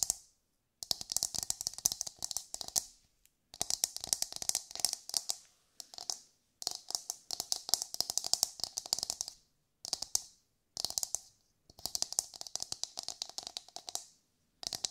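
A hollow, brown, fibrous coconut shell half is held in both hands and tapped and scratched with long nails. Quick, dry, bright clicks and scratches come in a series of dense bursts separated by brief silences, with a faint hollow mid-range ring under each burst.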